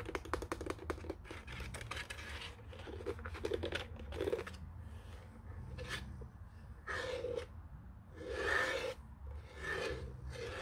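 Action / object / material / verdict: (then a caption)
scrape / plastic desk telephone casing / plastic / none. Fingernails scratch and rub along the top edge and casing of a white hollow plastic desk telephone with its handset on the cradle. The first half is a dense run of quick, dry scratches, followed by longer, bright scraping rubs with a hollow plastic resonance.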